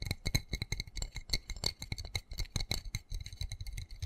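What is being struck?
Small textured plastic plant pot with soil.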